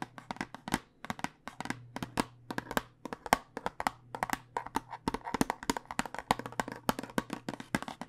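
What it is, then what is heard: Plastic dice tube tapped with nails. Long nails tap rapidly along a long clear plastic tube with a cardboard end, full of dice and held horizontally. The result is a quick, irregular run of dry, clicky taps with a hollow midrange tone and almost no ring, over a faint low steady hum.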